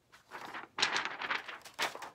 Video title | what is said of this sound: Dan Kennedy Style "Shock & Awe Box" Revealed | sounds sort of solid sounds different than a piece of paper